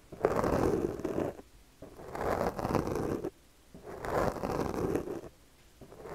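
The teeth of a yellow plastic comb are stroked repeatedly over the top of a black foam windscreen on a microphone held in the other hand. Each stroke makes a dense, scratchy rasp centered in the low mids, and the strokes are separated by brief near-silent pauses.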